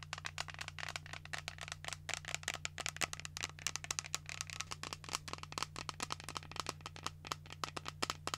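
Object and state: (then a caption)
Plastic shaker bottle. A pink translucent plastic shaker cup with a flip lid, hollow and apparently empty, is held in the hand and tapped and scratched with long nails. Dozens of quick, bright, hollow clicks and rattly scratches follow each other over a steady low hum. Each tap dies away almost instantly.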